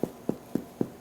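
Four taps on the bottom of a freshly baked, still-warm spelt sourdough loaf give short, dull, hollow thumps centered around 250 Hz that die away almost at once. The hollow sound shows the bread is done.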